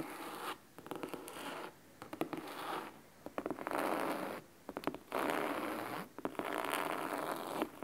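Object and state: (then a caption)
Cloth-bound hardcover book, scratched. Fingernails scratch the top edge of a large, thick, solid hardcover book bound in red fabric. It makes crisp, bright, dry rasping strokes in bursts, separated by short quiet gaps and punctuated by sharp little clicks and taps.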